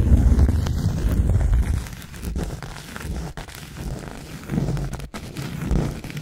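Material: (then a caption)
Cork. Long acrylic nails scratch across the surface and edge of a thin round cork coaster, making a dry, crinkly, tearing rasp with a low, rumbling body. The scratching is loudest and densest at the start, then drops to softer, uneven strokes that swell and fade.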